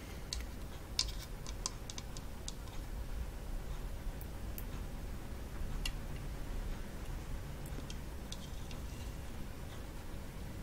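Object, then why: Coconut shell kalimba with wooden top. Long false nail tips tap on the painted wooden top of a hollow coconut shell kalimba, near its lower edge, while the instrument is held up close. The result is a scattered run of light, dry, bright clicks with very short ring, over a soft, steady low rumble and a faint constant hum.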